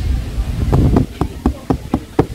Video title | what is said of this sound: O IMPÉRIO ROMANO VOLTOU EM 2022! Festa dos Povos Aqvae Flaviae | é de plástico. Te dá uma batidinha ali de plástico.